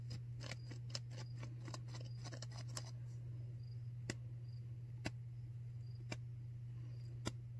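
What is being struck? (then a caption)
Non-woven disposable face mask. Long nails scratch along the edges and ear loops of a white disposable non-woven paper surgical face mask worn on the face, giving a quick run of crisp, bright scratches for the first few seconds. Sparser sharp clicks follow, all over a steady low hum.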